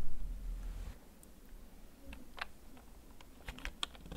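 Fingertips slowly type on a full-size black plastic backlit Storm Xenics K4 mechanical gaming keyboard with a hollow case, held up off the desk. Sparse, short, bright key clicks come through over a steady low rumble that is loudest in the first second.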